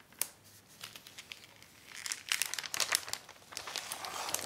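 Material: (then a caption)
Acetate plastic. A long acetate dust jacket protector sheet with a paper backing rests on a wooden table while hands with long dark nails lift, crinkle and flatten the thin plastic film. The result is bright, crisp crinkling and crackling with sharp snaps. It grows busier and louder in the second half.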